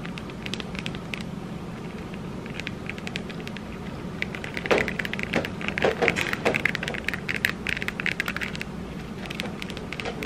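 Long red acrylic nails tap and scratch across the tiny mirror tiles of a small hollow disco-ball Christmas ornament held in both hands. Quick, bright, sharp clicks and scrapes sound over a steady low hum, growing denser and louder in the middle of the clip before thinning out again.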